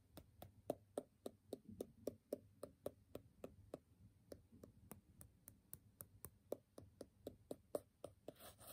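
A graphite pencil point taps and scratches rapidly on the covered top sheet of a small, square, solid stack of brown kraft paper sticky notes held in the hand. About thirty quiet, dry, mid-pitched ticks come at an uneven, quick pace, each dying away almost instantly. Soft scratchy rustle fills the gaps between them.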